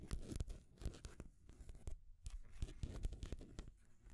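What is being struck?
Painted wooden stacking rings on a peg.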